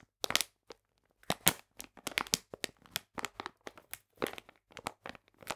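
A full plastic bag of polenta is held upright in both hands while fingernails scratch and tap its back. Around twenty short, sharp, bright crinkles and crackles come in quick irregular bursts, each cutting off almost at once with no ring.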